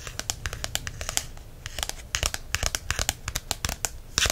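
A small, thick "Essential Guide to Herbs" paperback lies closed while its front glossy card cover is tapped and scratched with fingertips and nails. A quick, uneven series of sharp, dry taps rises over a soft scratching hiss, with bright clicks that die away almost instantly and a denser burst of tapping at the very end.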